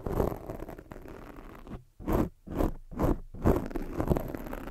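Long fake nails scratch the sides of a black foam microphone windscreen. The result is a dense, muffled scratching and rubbing that is mostly low and soft, with a brief high hiss on top. It starts as a continuous scrape, then breaks into separate rising-and-falling strokes with short silences between them before the steady scratching resumes.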